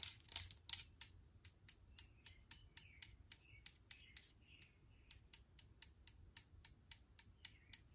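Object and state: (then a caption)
Aluminum sanitizer bottle. Long nails tap the body of a brushed aluminum hand sanitizer bottle held upright, making 28 quick, bright, dry clicks that die away almost instantly. The taps come at an uneven pace of roughly three to four per second and stay quiet over a faint low background hiss.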